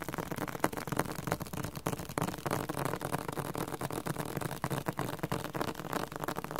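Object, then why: Hardcover book with cardboard cover. A hardcover book with a cardboard cover is tapped aggressively in a fast, uneven stream of dry, dull taps. Each tap is short with almost no ring, and the sound is centered in the low and middle range. No voice is heard.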